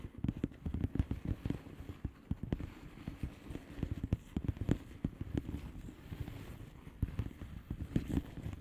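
Long nails rapidly tap the bubbles of a flat blue plastic bubble wrap envelope. The taps are dull and low-heavy with a soft plasticky crackle, each dying away almost instantly in a quick, uneven stream.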